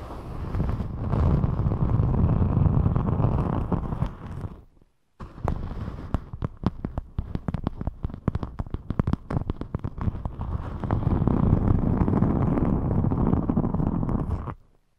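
Long chrome nails scratch and rub a thin rainbow glitter EVA foam sheet curved over the microphone, crinkling and flexing it. A dense, low, rumbling rub fills the first four seconds, then a brief silence gives way to rapid, irregular sharp scratchy clicks. The heavy rubbing builds back for the final seconds before cutting off.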